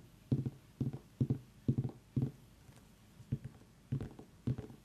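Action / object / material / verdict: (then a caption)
tap / pumpkin / pumpkin rind / none. A pumpkin is tapped with the fingers, giving dull, low, hollow thumps that die away almost at once. The taps come in eight separate bursts, several of them quick double or triple taps, with short quiet gaps between.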